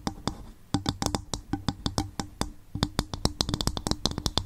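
An upturned, hollow, empty coconut shell bowl is tapped with the long fingernails of both hands. It gives a rapid, uneven run of sharp, bright clicks, each with a brief low, hollow thump that dies away almost at once.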